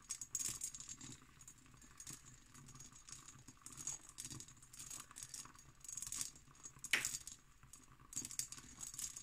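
An empty, textured cut glass decanter with its stopper is tapped and scratched with long nails. Quiet, bright clicks and scratchy rasps come in irregular bursts, with a few sharper taps that die away almost at once.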